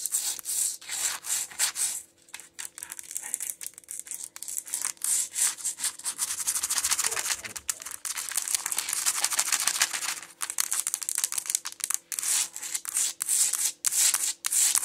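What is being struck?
Wooden plank floor scratched and tapped with long nails.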